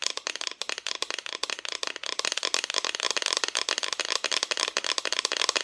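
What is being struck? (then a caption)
Painted thin plywood cut-out decoration. Long fingernails of both hands tap quickly on the painted side of a solid, flat, thin cut-out plywood Christmas decoration. The result is a dense, continuous patter of bright, dry clicks with no low end, each one dying away almost instantly.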